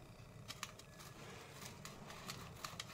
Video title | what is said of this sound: कुरकुरीत ब्रेड रोल्स,अतिशय सोप्या पद्धतीने झटपट बनणारा टेस्टी नाश्ता- Potato bread rolls- | छान असा कुरकुरीत आवाज येतो आहे